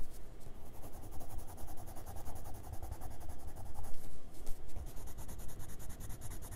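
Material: Paper.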